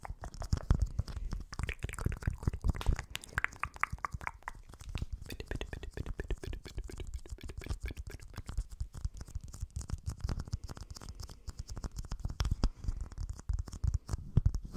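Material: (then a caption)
Plastic. A small, transparent, hollow round plastic container, apparently empty, is held in both hands and turned slightly while fingertips and short nails tap and scratch it. Dense, rapid soft taps with a dull, low-heavy thump mix with crackly scratching, and a faint hollow ring sounds briefly in the first few seconds.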